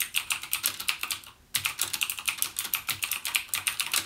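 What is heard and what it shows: Fingertips type continuously on a backlit mechanical keyboard with plastic keycaps and Cherry MX Blue switches. A rapid stream of about thirty sharp, bright, clicky keystrokes with short decay is heard, centered around 2.4 kHz and carrying no low-end thump. The typing briefly drops off before 1.5 seconds, then resumes at a steady pace.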